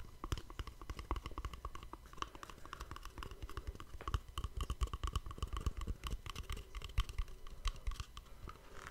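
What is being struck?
Small cardboard box.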